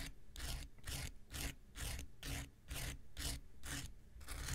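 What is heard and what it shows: An X-Acto knife blade scrapes across a small, solid, rectangular pink foam nail buffer block in a steady series of back-and-forth strokes. Each stroke makes a bright, raspy hiss with a low rumble underneath, and short quiet gaps fall between the strokes.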